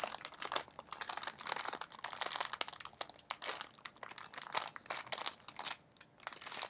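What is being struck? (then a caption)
Metallized plastic snack bag. A partly full blue metallized plastic Smartfood bag is crumpled and folded in both hands, with its contents possibly adding some crunch. Dense, bright crinkling and crackling comes in rapid overlapping bursts with almost no low end, each crackle dying away instantly. The sound keeps rising and falling in uneven waves for the whole clip.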